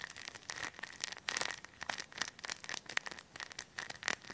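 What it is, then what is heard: Plastic bag of polyester fiberfill. A hand-sized, clear, thin plastic bag full of white polyester stuffing is pressed, patted and crinkled with fingertips close to the mic. It makes a quick run of crisp, bright crackling bursts with almost no low end, and a faint steady tone near 1.9 kHz runs underneath.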